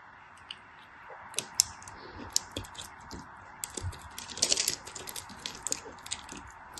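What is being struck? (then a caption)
Glycerin soap bar. A craft blade slices pieces off a hand-held block of solid translucent pink glycerin soap. It gives a quick series of crisp, bright clicks and scrapes over a soft, steady hiss. Each cut snaps off sharply with almost no ring.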